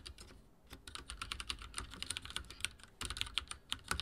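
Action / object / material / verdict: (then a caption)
tap / plastic mechanical keyboard / plastic / none. Fingertips of both hands type rapidly on a full-size backlit mechanical keyboard with dark plastic keycaps and linear switches, resting on a wooden desk. A dense stream of short, bright plastic taps and clacks with a little low thump sounds under each press, each dying away almost instantly. There is a brief lull near the start before the typing picks up and stays steady to the end.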